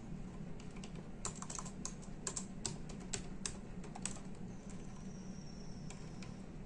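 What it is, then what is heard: Plastic computer keyboard being typed on. Both hands type with their fingertips on the hollow plastic keys of a full-size black-and-silver plastic computer keyboard resting on a desk. The result is a steady run of short, bright clicks and taps of varying loudness over a constant low hum, with a faint high tone briefly rising near the end.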